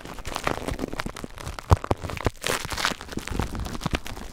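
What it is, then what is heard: Plastic bubble wrap. Clear plastic bubble wrap wrapped around a recorder is squeezed by fingers, then scratched with fingertips. Dense, close crackling and rustling fills the clip with a low, thumpy body and brief bright edges, and one sharper, louder snap stands out partway through.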